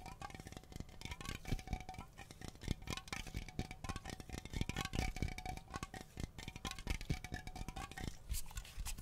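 A cylindrical aluminum Glade aerosol air freshener can, about 20 cm long, hollow and pressurized, is held in both hands and tapped and scratched along its body with long nails. Quick, dense clicking taps and scratchy rasps run throughout, with a faint metallic ring that rises and falls in pitch. The hits die away almost instantly over a soft, low-heavy thumping body.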